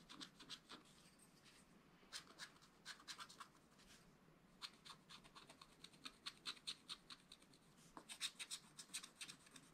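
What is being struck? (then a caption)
Wax-coated scratch-art paper and wooden stylus. A wooden stylus scratches the black wax coating of a small spiral-bound scratch-art paper pad. The sound is a series of quick, bright, dry scratching strokes in clustered bursts, with brief quiet gaps and almost no low end.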